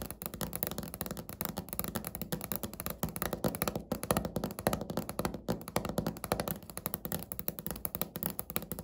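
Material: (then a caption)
Laminate. Natural fingernails tap quickly on a flat, solid, speckled beige laminate countertop, recorded up close. The sound is a steady stream of short, dry clicks and knocks with almost no ring. Each tap has a muted, woody low-mid tone.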